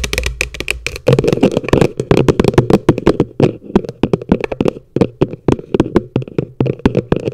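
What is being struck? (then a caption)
Upturned plastic bucket. Long nails tap quickly and irregularly on the base of an upside-down, hollow yellow plastic bucket. Each tap is a short, dry click over a low, hollow thump, and it dies away almost at once.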